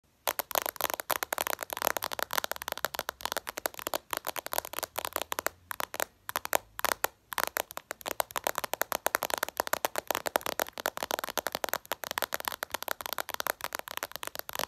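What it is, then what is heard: Glass phone screen tapped with nails. Long purple acrylic nails tap fast with many fingers on the reflective glass screen of a smartphone lying flat, face up. The result is a dense, rapid stream of sharp, dry clicks with no ring, bright and crisp with almost no low end, stopping briefly in a few short pauses.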